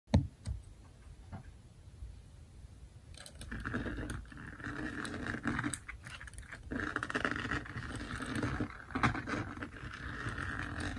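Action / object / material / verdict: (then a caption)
scrape / plastic resin drills on an adhesive canvas / plastic / none. Fingertips and nails scratch across a flat, finished Snow White diamond painting lying on a table, its small plastic resin drills stuck on an adhesive canvas. A few soft taps open the clip, then from about three seconds a steady, gritty scratching rasp rises and falls in bursts, with a low rumble underneath throughout.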